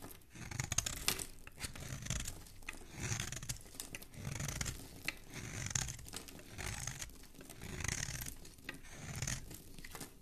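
A hand with dark-painted nails holds a hand-sized solid orange bar of soap while a metal utility blade scrapes and shaves it, curling off shavings. Each stroke makes a dry, crisp, tearing scrape with bright, hissy detail over a soft low rumble. The strokes come in steady, repeated swells.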